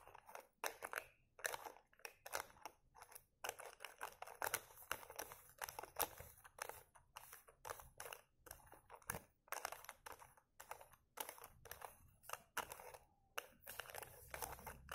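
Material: Plastic.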